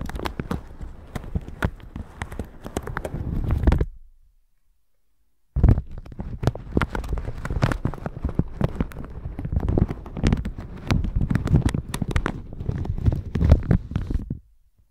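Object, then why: Plastic shower cap over a microphone. A plastic shower cap stretched over a microphone is scratched and brushed with a red silicone bristle brush, making dense, crackly crinkling and rustling with a heavy low-end thump. The scratching pauses for about a second and a half, then resumes and continues steadily until it stops near the end.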